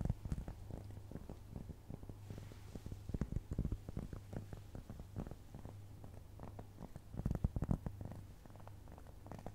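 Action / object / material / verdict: tap / round flat cork trivet / cork / none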